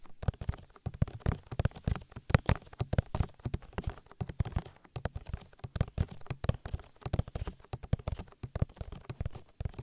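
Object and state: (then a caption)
Silicone microphone ear. Fingertips tap in a steady rhythm on the oily silicone ear of a binaural microphone. Dense, soft, muffled thumps fall in quick succession, deep and boomy with almost no brightness. Each tap dies away at once.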